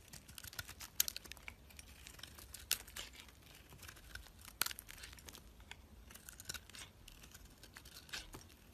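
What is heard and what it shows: A utility knife blade shaves thin curls off a solid white bar of soap held in the hand. The result is a quiet, bright, crisp scraping and crinkling texture, broken by a few sharper, louder clicks near the start and middle as the blade bites in.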